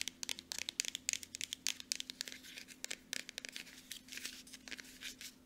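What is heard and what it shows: Long nails from both hands tap fast on a small upright Aveeno plastic lotion bottle. The result is a rapid, uneven run of bright, dry clicks and crinkly ticks with almost no ring, over a faint steady low hum.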